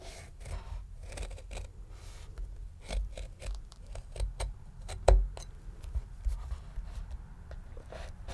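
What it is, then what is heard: Whole pomegranate rind being scored. A paring knife tip scores the leathery rind around the crown of a medium, solid, whole red pomegranate. The scoring makes a series of short, crisp cutting clicks and scrapes over a low, dull background. One sharper snap stands out near the middle.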